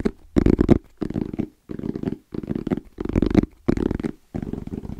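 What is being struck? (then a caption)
Fabric-covered EVA foam zipper case. Fingertips tap rhythmically on the flat face of a small, closed, hollow black rectangular zippered hard case with orange trim and a fabric-covered EVA shell. Seven quick bursts of rapid, soft, dull taps sit mostly in the low-mid range, each dying almost instantly with a faint papery brush on top.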